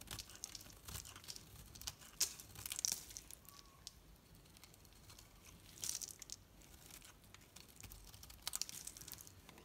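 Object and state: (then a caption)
Bar soap shaved with a knife. A solid green Dalan bar soap, its painted coat mostly gone, is held in both hands and shaved lengthwise with a metal knife into curls. The strokes give bright, crisp scraping and crunching sounds, with louder bursts standing out between quieter stretches. Each sound stops almost at once, with no ring.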